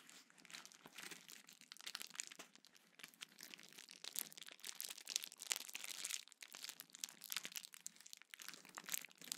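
A small sheet of clear plastic bubble wrap is held in both hands, squeezed, crinkled, and its bubbles popped with the fingertips. The result is a quiet, continuous bright crackle of dense, sharp little snaps and crinkles with almost no low end, swelling and easing in short bursts.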